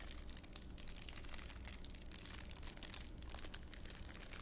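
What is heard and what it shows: A thin clear plastic wrapper is squeezed and crushed by fingers in a cupped hand. The result is a quiet, continuous crinkling with dense, bright crackles over a steady low hum.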